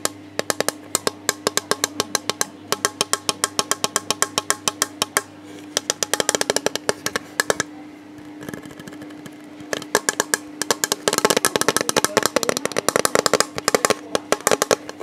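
Fingertips tap a hollow, rigid, see-through plastic storage box with a printed robin on its side. The taps are quick, dry, hollow clicks that fall in fast bursts, with a brief quieter stretch partway through before they grow dense and louder toward the end. A faint steady hum sits underneath.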